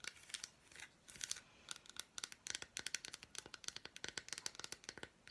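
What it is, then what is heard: Milk chocolate bar tapped and scratched with nails. Long black nails scratch and tap across the squares of an unwrapped piece of solid milk chocolate bar with fruit pieces. The result is a quick, uneven string of sharp, dry clicks mixed with crisp, crinkly scratching. It is quiet and bright, with almost no low end and no ring after each tap.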